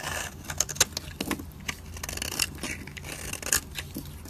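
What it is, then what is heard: Dry soap bar. A dry, solid white soap bar held in the fingers has its edge scraped with a metal utility blade, shaving off fine powdery flakes. Short, bright scratchy scrapes and crisp clicks come in quick uneven strokes, with a faint low hum running underneath.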